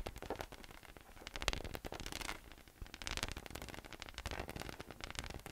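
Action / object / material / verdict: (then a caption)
tap / inflatable PVC massage ball / PVC plastic / none. A hollow, air-filled yellow inflatable PVC massage ball with nubs, resting on a white table, is tapped and patted with fingertips in a quick, steady run. Each touch gives a soft, hollow thump with a bright, crackly click. Together they blur into a dense, static-like patter that swells and eases over the clip.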